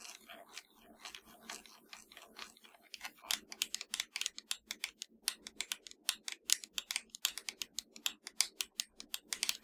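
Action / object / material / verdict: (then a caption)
tap / plastic game controller / plastic / none. Long nails tap and scratch the shell of a hollow, black plastic PS4 controller, producing a quick run of dozens of sharp, bright clicks with scraping in between. The taps are quiet and dry and die away almost instantly, growing slightly louder and denser toward the end.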